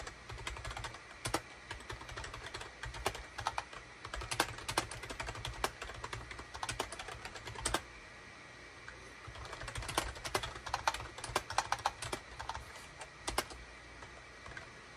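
A full-size gray SHIPADOO K600 wired USB keyboard, with a hollow gray plastic case and cream, gray and orange plastic keycaps, sits on a desk mat and is typed on rapidly with the fingertips of both hands. The keystrokes are short, bright plastic clacks with a slightly hollow tone, and they die away almost instantly. Typing runs steadily, pauses briefly near the middle, then resumes in quick bursts.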